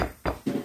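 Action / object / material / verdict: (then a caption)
knock / wooden table / wood / none. Knuckles knock on a wooden table in a short series of quick, dull taps. Each knock is a low, muffled thud that dies away almost at once.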